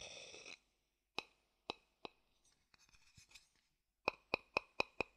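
An empty, hollow wooden bowl is turned over in the hand while a thin wooden stick taps and clicks on its base and rim. A brief bright rustle is followed by three spaced, sharp taps with a short ringing tone near 2.5 kHz, then soft scratchy clicks. It ends with a quick run of five crisp taps.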